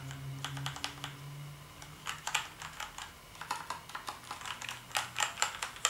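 Fingertips type on a black plastic gaming keyboard with backlit keys, producing a rapid, irregular run of short, bright plastic clicks and clacks that die away almost instantly. A faint low hum sits beneath the keystrokes in the first half.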